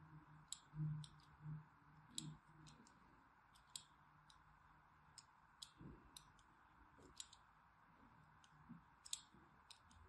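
A solid orange striped bar of soap is held in the hand and scored with lines by a thin needle tool. Sharp, bright scratching clicks come at an irregular pace over a faint low hum, with a few soft, dull thuds underneath.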